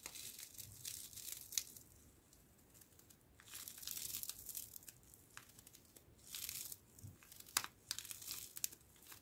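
A green foil-laminate coffee stick sachet is squeezed, crinkled and scratched along its length by fingertips and nails. Bright, crackly bursts of crinkling come and go, with a couple of sharp snaps and quieter scratchy stretches in between.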